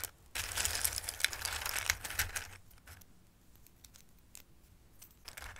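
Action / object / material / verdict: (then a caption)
shake / dried pasta pieces in a bowl / dried pasta / none. Fingertips sweep and shuffle hard pieces of dried Christmas pasta in a bowl, making them clatter against each other. A dense, bright rattling rush lasts about two seconds, then thins into scattered dry clicks and small clatters, with a brief pickup in shuffling near the end.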